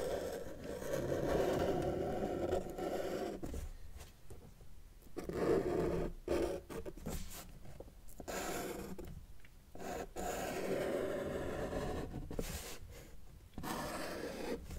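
A felt-tip marker tip is drawn across a flat white paper sheet resting on a table while line art is drawn, with the left hand holding the sheet. Soft scratchy rubbing strokes run in long passes, concentrated in the low-mid range with little brightness, broken by short quiet pauses between lines.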